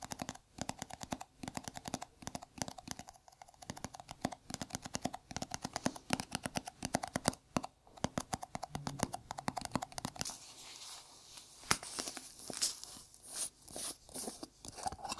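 A small, round, hollow white plastic jar, held in a gloved hand, is tapped with bare fingertips. It makes rapid, light, dry clicks that die away almost instantly. About two-thirds of the way through, the tapping thins out and a brighter, hissy rustling texture comes in.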